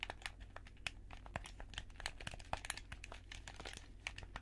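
White-gloved fingertips click the buttons and rub the shell of a hollow, handheld black plastic gamepad held between two microphones. Quick, dry, bright clicks and taps come in an irregular stream over a soft, crinkly rubbing texture. A steady low hum sits underneath.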